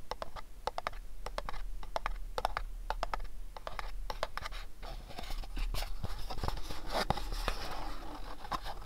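Fingernails tap and scratch across the surfaces of a small, hollow, house-shaped printed cardboard gift box as it is turned in the hands. Sharp, dry clicks come first, then give way to a denser, rougher scraping texture in the second half. Each tap dies away almost instantly, with a papery tone around 800 Hz over a low background rumble.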